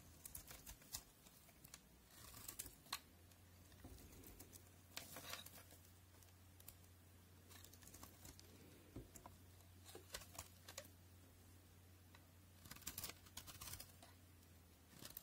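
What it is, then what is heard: Soap bar being carved. A solid white rectangular soap bar, from a set of white soaps (NC, Linom, FAX), is held in the fingers while a utility knife blade carves crumbly chunks off its edge. Quiet, bright, crisp scraping and crunching clicks come in bursts over a steady low hum. Each short crackle dies away almost at once.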